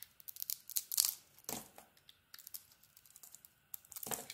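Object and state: Soap bar being carved.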